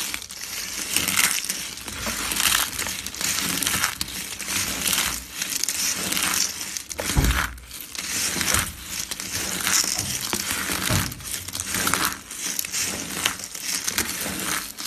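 A heap of small, thin, multicolored dry soap flakes is squeezed and crunched in the hands. Dense, bright crackling and crinkling comes in repeated, uneven waves, with occasional soft low thumps between squeezes.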